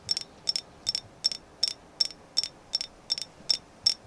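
A carved agate moon goddess figure is tapped in an even rhythm, giving eleven short bursts of bright, high clicks with a faint high ring. Each tap dies away almost at once, with no low end.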